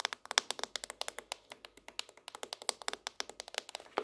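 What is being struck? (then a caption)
Laminated cardboard hardcover notebook. Long nails tap quickly along the cardboard spine and edge of a laminated, tropical-leaf hardcover notebook held up on its edge. About thirty quiet, dry, bright clicks follow one another in an uneven rhythm, each dying away instantly with no low-end body or ring.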